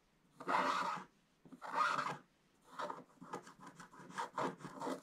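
A wooden stick held in the fingertips scrapes the coated paper page of a scratch-art book. Two long, dry raspy strokes come first, followed by a run of short, quick scratching strokes. The scratching sits around 1 kHz, with bright hiss on top and almost no low end.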